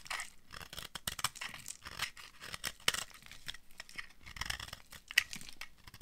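A hand-sized solid bar of dry pink soap, held in the hand, is carved with a utility cutter blade that scrapes off shavings. The result is an irregular run of dry, crisp scraping and crunching strokes with bright, hissy high tones and a few sharper cracks.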